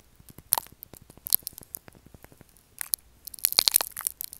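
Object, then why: Solid soap bar. Fingernails scratch the roughened, carved surface of a solid light-blue bar of soap so that chunks crumble off. The result is a quiet run of dry, bright crunching and crackling scrapes, with short sharp bursts scattered through it and a denser cluster toward the end.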